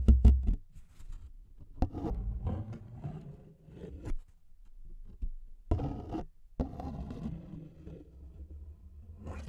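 A thin, flat brown paper envelope, held in both hands in front of a microphone, is scratched with the fingernails. Two heavy, low thumps open the clip. Bursts of dull, scratchy rustling follow, separated by brief pauses, and the sound stays mostly low and muffled.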